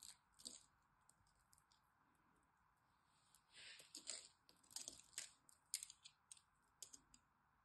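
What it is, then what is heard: Dry bar soap. A small blade carves the scored surface of a solid green dry bar of soap held in the hand, and small soap cubes flake and crumble off. The result is a quiet run of bright, crisp scrapes and short crunchy clicks, with irregular bursts and almost no low end.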